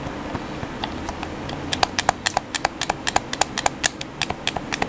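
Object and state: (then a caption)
Plastic game controller buttons tapped. A black, hollow plastic PS4 controller is held in the hands while fingertips tap its buttons rapidly. Quick, dry plastic clicks with a hollow tone around 760 Hz and bright edges come in an uneven, fast patter, growing louder and denser after the first couple of seconds over a faint low background hum.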